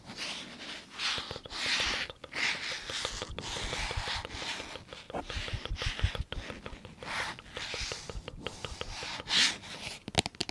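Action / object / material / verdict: tap / plastic spray bottle / plastic / none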